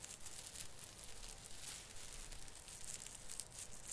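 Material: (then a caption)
Plastic. A hand grips and rubs the plastic needles at the tip of a branch on an artificial Christmas fir tree. The result is a steady, crinkly rustle with bright, high bursts coming in uneven pulses over a low, dull rumble.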